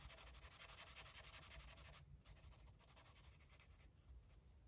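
A red marker tip rubs quickly back and forth across a paper coloring book page resting on a table, filling in an area. The result is a steady, bright, scratchy rubbing that is dense and louder for the first two seconds, then continues in softer, more broken strokes.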